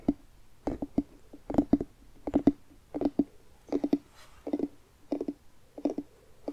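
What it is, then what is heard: Carved pumpkin, hollow. Fingertips and nails tap the outer rind of a hollow carved jack-o'-lantern pumpkin held in both hands. Short, dry, hollow knocks with a low-mid resonant tone come in quick bursts of two to four, each dying away almost at once, with quiet gaps between the bursts.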